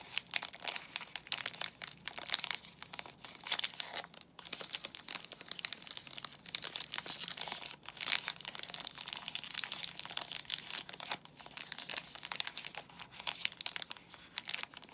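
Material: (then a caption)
Plastic film. A soap bar in a glossy white plastic film wrapper is rubbed and squeezed by fingers, making the wrapper crinkle. A steady stream of bright, crisp crackles runs throughout, with almost no low end and brief dips between bursts.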